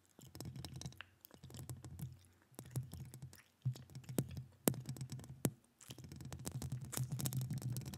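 Long acrylic nails scratch across a hollow metal mesh microphone grille with both hands. The sound comes in several bursts of dense, rumbling scraping, heavy in the low end and broken by pauses. Sharp, bright clicks cut through as the nails catch on the mesh.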